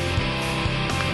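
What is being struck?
Nothing is struck.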